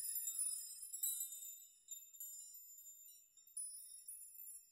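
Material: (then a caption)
Metal. Open hands and fingers push and rock a wall of many long, thin hanging metal nails so they knock together. The result is a quiet, bright, tinkling chime with no low end, rising in irregular swells that each ring briefly before fading.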